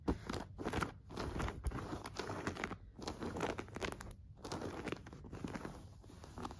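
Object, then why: Denim overalls. Light-wash denim overalls with metal buttons lie flat while fingertips and long nails scratch and rub the denim. Bursts of rough, dry scratching alternate with short pauses.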